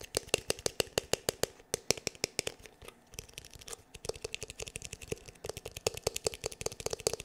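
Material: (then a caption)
Plastic. Fingertips and nails tap rapidly on the back of a black, glossy, hollow plastic paddle hair brush held in both hands. About 48 short, dry clicks carry a hollow mid tone with bright, crisp ticks above and no ring, easing briefly into quieter taps midway. The tapping then picks back up into a steady, even patter.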